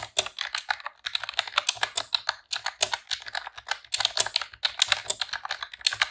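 Rapid typing on a pink retro-style plastic computer keyboard with round keycaps, pressed with long press-on nails and fingertips. Quick bursts of bright, sharp clacks with no ring tumble out in runs, broken by brief pauses.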